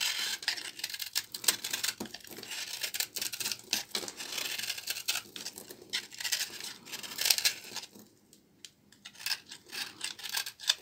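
A small knife shaves and scrapes the crumbly edge of a hand-sized, solid bar of old, dry, brown household laundry soap held in the hands, and the flakes fall onto a pile of shavings. The sound is a dense run of bright, dry, crackling scrapes and quick scratchy strokes with almost no low end. It pauses briefly near the eight-second mark before resuming.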